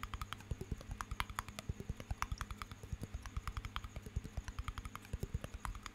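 Fingernails tap rapidly on the glass walls and metal lid of a small water-filled glass jar held close to the microphone. About 41 quick, separate taps come in a steady, uneven rhythm, each a short click with a soft low thump and a bright glassy tick that dies away almost at once. A faint low hum runs underneath.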